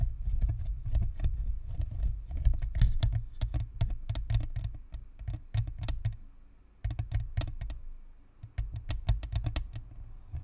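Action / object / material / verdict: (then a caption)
tap / plastic microphone shell with metal grille / plastic / none. Long manicured nails tap and scratch along the top of a Blue Snowball USB microphone, a fist-sized, white, hollow plastic spherical shell with a perforated metal grille, sitting on a stand. The result is a rapid flurry of short, dry clicks over a deep, boomy low thump, with a soft scratching rustle between taps. The activity briefly quiets just before the seventh second, then resumes.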